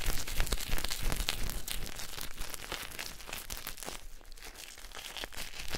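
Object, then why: Bar of soap rubbed with a cloth. A solid pink bar of soap held in the hand is rubbed and scraped with a white cloth by fingertips. Dense, crinkly scratching and rubbing runs throughout, with many small sharp bright clicks over a low rumble. It eases slightly in the middle before picking up again near the end.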